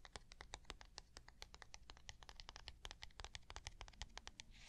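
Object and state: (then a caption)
Plastic box tapped with nails. A small, flat, hollow white plastic box is held in one hand and rapidly tapped with long nails. About three dozen sharp, bright clicks come in quick, uneven succession, each dying away almost instantly over a faint low hum.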